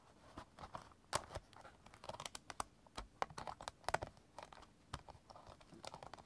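A small stack of about six clear hard plastic CD jewel cases is held in both hands while fingertips and short nails tap and scratch along the case edges and spines. The result is a quiet, irregular run of sharp, dry plastic clicks and taps with brief scratchy rasps between them. Each hit stops instantly with no ring and has a mid-pitched body and a bright click on top.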